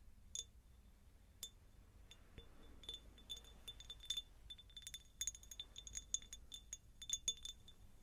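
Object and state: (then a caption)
Cut glass jar. Long nails tap a hollow, empty, medium-sized cut-crystal glass jar in a quick, irregular series of light clicks. Each tap gives a bright, glassy clink with a tone near 3.5 kHz and higher overtones, and it dies away almost at once over a quiet low hiss.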